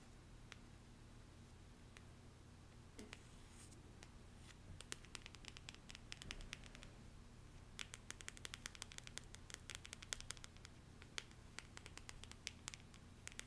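Long painted nails scratch and tap the face and edges of a small, solid deck of printed cardstock affirmation cards held in the hand. Soft scratching gives way to dozens of sharp, bright, dry clicks that grow quicker and denser in the second half. The clicks sit over a quiet, steady low hum.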